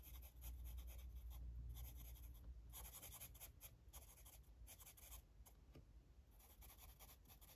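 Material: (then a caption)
Paper. A blue felt-tip marker rubs steadily over the page of an open paper coloring book lying flat on a table while coloring. Quiet, repeated scratchy strokes with bright, hissy edges come in irregular bursts over a low, steady rumble.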